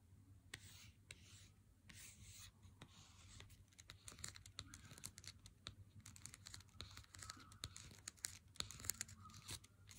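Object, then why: Cardboard chocolate bar box. A full Lindt Excellence 90% cardboard chocolate box, held in hand, is rubbed and scratched with a single fingertip and nail. The result is quiet, bright, dry scratching and rustling, broken by many sharp little clicks and taps over a steady low hum.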